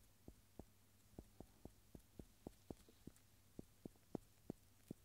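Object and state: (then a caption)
Cork stopper. A round solid agglomerated cork stopper, held in gloved fingers, is tapped and rubbed with the rubber eraser end of a yellow wooden pencil. A steady series of soft, dull, low taps stops dead with no ring, over a faint low background hum.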